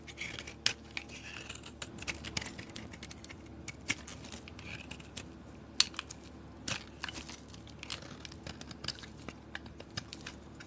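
A solid peach soap bar with a blue painted shell is held in the hand and shaved with a metal blade, with thin curls falling off. Bright, crisp scraping and crackling run throughout, broken by irregular sharp ticks and clicks over a faint low hum.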